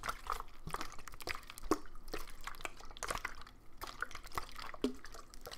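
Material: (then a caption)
Plastic. A medium clear plastic water bottle with a green cap and blue label, partly filled with water, is held in the hand and shaken so the water sloshes inside. Quick, wet splashes and drip-like plinks follow one another in an uneven stream, over a low rumble with brief bright splashes on top.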